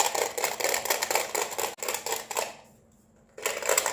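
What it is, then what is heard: Plastic neon flamingo lamp. An LED neon flamingo lamp with a hollow white plastic base, held in the hands, is tapped rapidly with long red-painted nails on the base and tube. The result is a dense run of quick, bright plastic clicks. The clicks stop briefly for about a second near the end and then resume.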